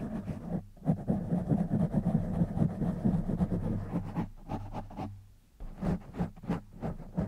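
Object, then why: Foam microphone windscreen. Fingertips of both hands scratch and rub the black foam windscreen on a silver condenser microphone. The result is a dense, muffled, low rumbling scratch with a boomy hum, dipping quiet for a moment before breaking into separate short rubbing bursts.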